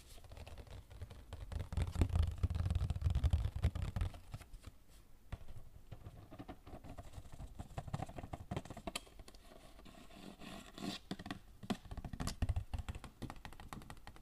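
Fingertips rapidly tap and scratch the surface of a hollow cardboard Royale tissue box held in the hands. The result is a quick, irregular patter of short, dull taps with a boomy low thump around 100 Hz, mixed with faint scratchy rustling. The tapping is heaviest in the first few seconds and returns in bursts later.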